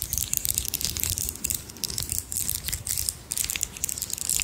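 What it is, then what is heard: Pearl bead necklace. A strand of small, round, solid pearl beads, which may be real or imitation, is held in both hands close to the mic while long nails and fingertips rub and rattle the beads against each other. The result is a steady stream of dense, bright clicking and clattering, with quick rises and dips in intensity and very short, dry ticks.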